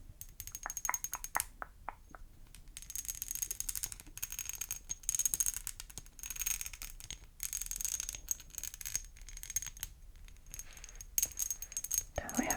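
Rapid tapping and handling on a textured, molded glass Avon perfume bottle with doubled-up mould-line bumps. The bottle gives off bright, clicky taps with very short ring and a sharp high tone. An early run of separate taps gives way to dense bursts of scratchy, rattling contact.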